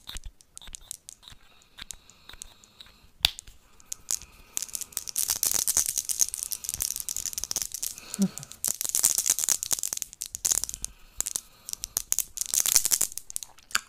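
A small pink plastic wand-shaped toy topped with a cluster of colored plastic balls, possibly hollow, is held in the fingers and shaken and handled. It makes quiet bursts of dense, bright, rapid rattling clicks with very little low end, growing busier and louder in the second half.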